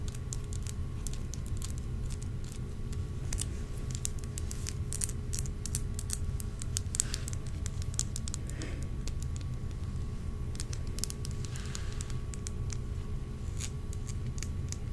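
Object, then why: Small glass dropper bottle filled with oil. A small, round, handheld glass dropper bottle filled with amber oil and topped with a black dropper cap is tapped with long nails. Quick, light, sharp clicks patter throughout over a steady low rumble.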